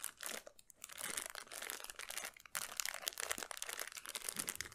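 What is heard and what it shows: A small clear plastic cellophane bag, tied at the top and filled with colorful candies, is held in both hands and crinkled and squeezed with the fingertips. It makes a quiet, bright, dense crackling and crinkling with almost no low end, easing briefly before picking up again in a steady run of sharp crackles.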